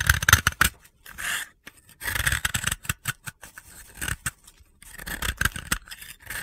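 A metal utility-knife blade scrapes a round, solid, white-blue dry soap disc held in the hand, shaving it into crumbly powder. Dry, gritty scraping strokes alternate with sharp crunchy clicks and brief pauses, with a bright, rasping texture and no ring after each stroke.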